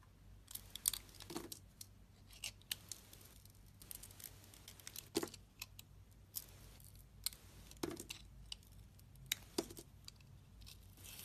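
A palm-sized, solid peach-pink bar of soap with a thin purple outer coating, held in a hand with long red nails, is carved and sliced with a metal utility knife blade, shaving off thin strips. Crisp, bright scraping and cutting strokes come in quick irregular bursts over a faint, steady low hum. Each stroke ends abruptly with no ring.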